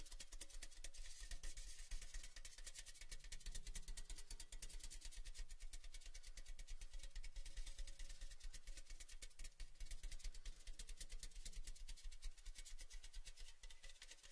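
A tall, red, cylindrical metal Baileys tin, hollow and apparently empty with its lid off, is held tilted in the hands and tapped rapidly on its side with the fingers. The result is a fast, steady, slightly uneven patter of short, dull, low taps with almost no ring.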